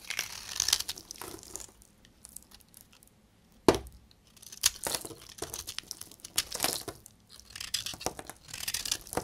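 A hand-sized, solid, dark brown bar of dried soap is held in one hand and shaved and scraped with a utility knife blade, making chunks crumble off. Bright, dry scraping and crackling crunches come in uneven bursts, with one sharp snap partway through and quiet gaps between strokes.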